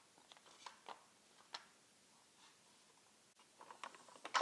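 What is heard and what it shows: Long red-painted nails tap and click on the labelled lids of small round plastic jars, some full of colored resin diamonds and some empty, held in a rectangular clear plastic organizer tray. Sharp, light plastic clicks come in scattered bursts with a quiet pause in the middle, then quicken and grow louder toward the end, each dying away almost at once.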